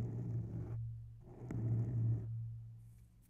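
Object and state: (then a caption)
Foam microphone windscreen being scratched. Long nails of both hands scratch both sides of a grey oval foam microphone windscreen. Two soft, rumbling bursts of scratching come through, dominated by a low hum near 117 Hz with a faint brighter hiss on top. A short pause separates the bursts, and the sound fades out at the end.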